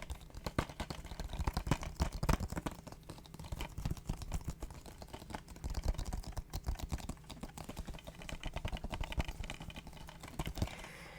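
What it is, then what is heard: Plastic game case, tapped. The outside of a plastic Spider-Man video game case, a Game of the Year edition, is tapped rapidly with many short, dry clicks, while the disc side is left untouched so the disc won't get scratched and stop reading properly. The taps come in dense bursts with a low-heavy, quick-decaying sound.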